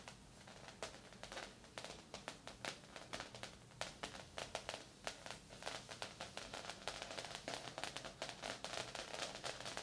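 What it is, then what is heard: Coated fabric body wrap blanket. Two people scratch and tap with long acrylic nails and fingertips across a large, flat, padded silver-grey sauna body wrap blanket with a synthetic, foil-like coated surface, lying on a bed. The result is a quiet, steady stream of crisp, bright taps and scratchy crinkling swishes, each click dying away almost instantly, with very little low end.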